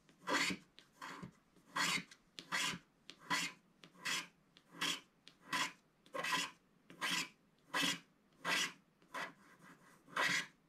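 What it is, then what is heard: Scratch-art paper being scraped. A wooden stick stylus held in the fingers scrapes the coating off a flat sheet of black-coated scratch-art paper in a book. Each stroke makes a dry, bright, raspy scratch, repeating at a steady, slightly uneven pace with short quiet gaps between strokes.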